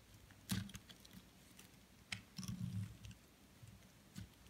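A metal blade shaves slices off the surface of a solid white branded soap bar held in the hand. Soft, crumbly scraping strokes with low thuds and brief bright crackles come in short bursts, with a longer run of shaving near the middle, over a quiet background.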